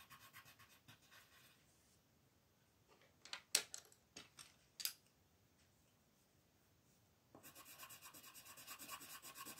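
A colored pencil scratches and rubs across a flat white paper sheet printed with a mandala while coloring, switching from yellow to green partway through. Quick, bright, rhythmic scratching strokes open the clip, followed by a quiet stretch with a few sharp, isolated scratches. Steady, rapid hatching then resumes to the end.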